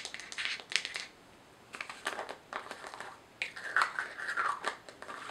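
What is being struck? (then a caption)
Small plastic jar with screw lid. A small, hollow white plastic jar with a screw lid is turned in the hands, tapped and scratched with long nails, and its lid is handled. Quick, bright clicks and scratchy rasps come in clustered bursts separated by brief quiet pauses, with no low end and almost no ring after each tap.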